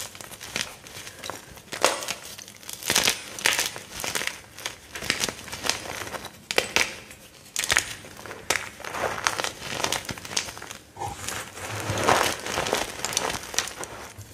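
Two hands with short red-painted nails squeeze and crush broken white gym chalk (magnesium carbonate) chunks and powder in the palms over a heap on a black surface, with intact chalk blocks sitting untouched nearby. Repeated dry, crumbly crunches and crinkling crackles come in uneven bursts, bright and gritty with almost no low end. Each squeeze leaves the pieces more powdered.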